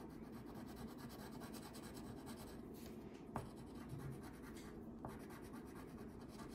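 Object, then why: Wax crayon on a paper sheet. A hand with long painted nails rubs a red wax crayon in short strokes across a thin paper coloring page lying flat on a table while coloring hair. The result is a quiet, steady, scratchy rubbing sound, with three faint tap-like clicks standing out partway through.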